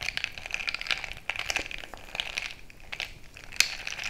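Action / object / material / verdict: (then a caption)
scrape / glass jar mug filled with crushed ice / ice, glass / none. A bamboo stick is jabbed and stirred into crushed ice filling a frosted glass mason-jar mug, producing a quick run of bright, crunchy crackles and clinks. There is a faint high glassy ring around 2.5 kHz, with almost no low end.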